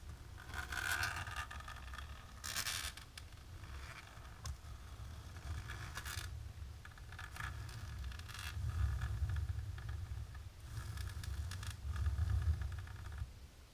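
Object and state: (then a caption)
Embossed plastic sheet. Long natural pink nails of both hands scratch across a flat, dark embossed plastic sheet, making a steady run of dry, rapid scraping strokes. Low rumble sits under bright, crackly bursts that rise and fall in intensity over the clip.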